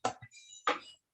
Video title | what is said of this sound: ESCAS: proceso diagnostico dolor abdominal parte 2 | tiene un sonido como de vacío